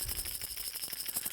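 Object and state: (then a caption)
Fishing lure with internal rattle. A fast-sinking fishing lure nicknamed "the rat" is shaken to show off the rattle inside it. Short, bright, maraca-like clicks sound in quick bursts, with the energy sitting mostly in the high range and each click dying away almost at once.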